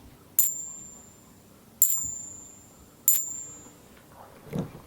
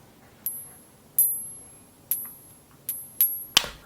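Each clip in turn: First: clad half dollar, not silver. Second: 35% silver nickel coins.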